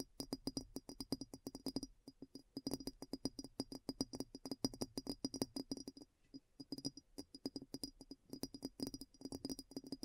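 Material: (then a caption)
Glass. Long nails quickly tap and scratch on the upturned foot of a large, clear, hollow and empty glass bowl turned upside down. Rapid bursts of short, dry clicks with a mid-pitched glassy tone and bright edges come in clusters, with brief pauses around two and six seconds.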